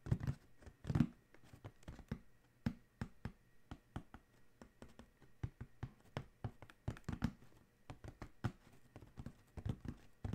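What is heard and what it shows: Both hands tap with their fingertips on a large, hollow black Adidas cardboard shoe box, then scratch its lid. The result is a steady run of dozens of quick, soft, dull thuds that die away almost instantly, with faint scratchy brushing between them.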